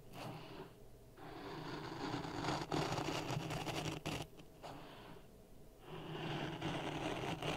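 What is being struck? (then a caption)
Sand in a plastic cup. A thin wooden stick stirs and scrapes dry grey sand in a clear plastic cup resting on a red microphone. The result is a steady, gritty rustling scrape with a low droning undertone, easing briefly into quieter stretches around the first and fifth seconds before swelling again.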